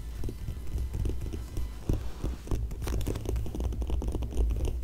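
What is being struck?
Glossy paper magazine page.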